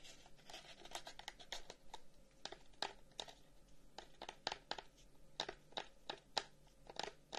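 Fingernails scratch and tap the front of a long, hollow carved wooden incense box with flower cut-outs and inlaid discs, held in both hands. Quiet, dry scratching runs throughout, broken by many short, sharp wooden taps with little ring.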